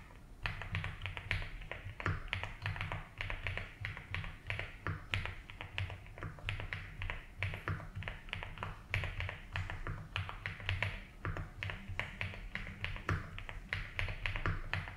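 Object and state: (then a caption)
Mechanical keyboard with ABS keycaps. Fingertips type slowly on a compact 75% mechanical keyboard with a blue case and white and blue ABS keycaps. Short, bright clacks follow one another in a steady stream, each dying away almost at once. A continuous low hum runs underneath.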